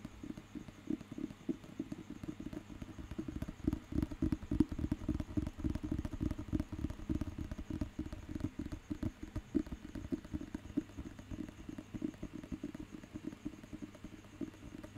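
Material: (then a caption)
Paper. Fingertips and nails tap and scratch the glossy paper cover of a thick, solid dictionary book held in the hand. The result is a quiet, continuous run of soft, dull taps and scratchy rubs at an irregular, fairly quick pace, each one short and dry, over a faint steady high tone in the background.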